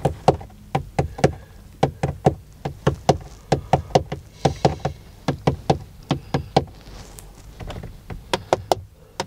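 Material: Sheet metal.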